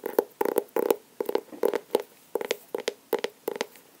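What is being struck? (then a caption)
Paper-covered cardboard sketchbook cover. Fingernails tap and scratch on the paper-covered cardboard cover of a medium blue hardcover sketchbook, solid and labeled, held upright. Quick clusters of dry, hollow taps with a midrange knock and a light scratchy edge repeat across the clip, each dying away almost at once.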